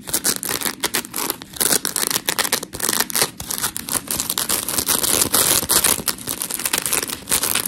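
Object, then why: Foam scrub sponge. Long pink nails scratch a white, hand-sized smiley-face scrub sponge of coarse polymer foam while both hands grip and squeeze it. The result is a steady run of gritty, bright scratching and crinkling bursts with almost no low end.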